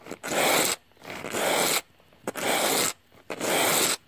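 A bearded dragon resting on top of a hollow-looking cardboard box scratches the flat cardboard surface with its claws. Four sustained, dry, rasping scratch bursts, bright with crisp high texture, are separated by short quiet gaps, some starting with a small click.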